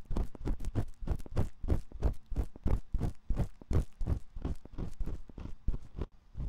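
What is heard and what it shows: A metal ear pick repeatedly scratches the canal opening of a dim white silicone ear on a 3Dio binaural microphone. It makes a steady run of close, muffled, low-heavy scraping strokes at roughly three per second, slightly uneven in rhythm, with little high-end brightness and no voice.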